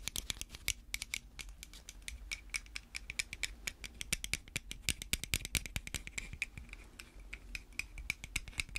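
Long red fake nails tap and scratch a small hollow white plastic pill bottle with a cap, held in gloved hands. A rapid, steady stream of sharp, bright clicks and light scratches rings out, each dying almost instantly over a faint low hum.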